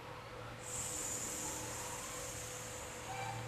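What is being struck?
Nothing is struck.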